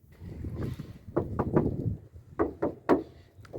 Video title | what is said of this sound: Isolation acoustique Partie 1 : les portes | vraiment que ça vibre et que ça sonne un peu creux